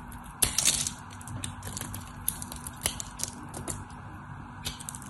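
A solid white soap bar held in the hand is scraped and shaved with a craft knife, with chips breaking off. Bright, dry scraping crackles and sharp clicks come in short bursts over a faint steady low hum, with the loudest crunch near the start.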